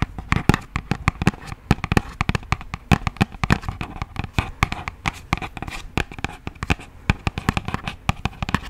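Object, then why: Thin cardboard box. A hollow, thin yellow printed cardboard box is rubbed and tapped with long nails and fingertips. The result is a rapid, uneven stream of dry taps and clicks over soft scratchy rubbing, with a dull low body and almost no ring after each hit.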